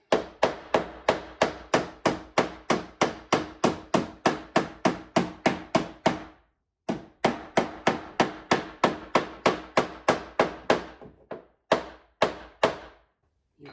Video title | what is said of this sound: Simple Car Paint Touch Up For Damaged and Peeling Paint. | You can hear that is really solid.